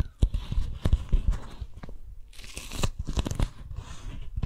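A small strawberry-print beeswax-coated cotton food wrap is held in both hands while fingertips and long nails stretch, pull and grip the waxed fabric. Irregular crinkling crackles and dull low thumps come close together, with bursts of bright rustling toward the end.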